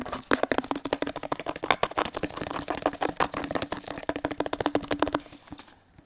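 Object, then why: Plastic detergent bottle. A hollow teal plastic detergent bottle is tapped rapidly with fingertips and nails on its sides and base. The result is a quick, uneven stream of short, dry, hollow clicks with a faint steady low hum underneath. The taps stop a little after five seconds and the sound fades out.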